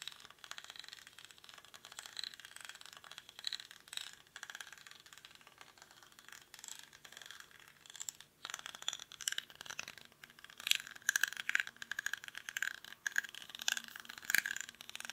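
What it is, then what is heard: Woven rattan basket. Fingernails scratch the weave of a small, hollow woven rattan or reed basket held in both hands, its contents not visible. The result is a quiet, dense run of dry, rapid scratching and rattling clicks, bright and centered around 3.3 kHz with almost no low end. The scratching grows busier and louder in the second half.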